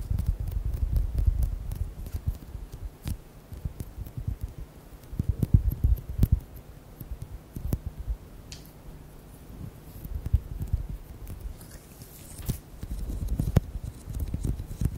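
Fingertips and nails tap and squeeze a hand-sized, orange, translucent soft rubber squishy ball filled with beads. The result is a steady stream of dull, muffled low thuds and soft squishing, with a few sharper clicks standing out. The sound swells and fades in busy bursts.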